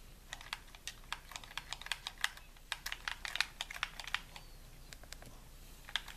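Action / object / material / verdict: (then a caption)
tap / plastic game controller / plastic / none. Fingertips tap and click the buttons and shell of a hollow white plastic gamepad held in both hands. The result is a quick, irregular run of short, bright, dry clicks that die away almost instantly, with little low end beneath them.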